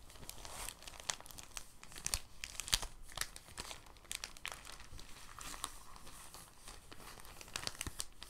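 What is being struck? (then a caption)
Thin plastic bag. A clear, thin, soft plastic bag is held open, then rolled on a table with the fingertips. It gives a quiet, steady stream of bright crinkling and crackling, with a few sharper, louder crackles near the two- to three-second mark.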